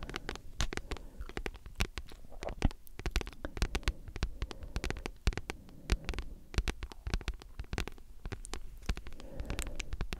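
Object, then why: Thick paperback book with glossy card cover. Long nails tap and scratch across the glossy card cover of a thick, solid paperback book. Rapid, sharp, dry clicks come in an irregular stream with soft scratchy rustles between them, over a low, dull body. Each tap dies away almost instantly.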